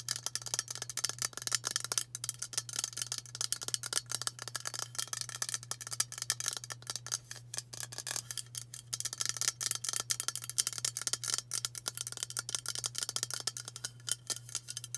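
Fast tapping with long burgundy nails on a hand-sized, hollow White Dove aluminium spray deodorant can with a plastic cap. It makes a dense, continuous stream of bright, dry clicks with almost no ring, over a steady low hum.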